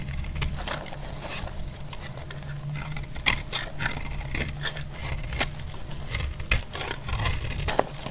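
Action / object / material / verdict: scrape / soap bar cut with a metal blade / soap / none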